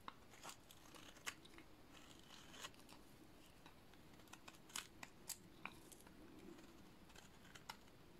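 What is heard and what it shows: A utility-knife blade shaves and cuts a solid, dry, painted cream-coloured soap bar. Quiet, dry scraping and crisp crunching strokes are punctuated by short, sharp, bright snaps that die away almost instantly over a soft, steady background hiss.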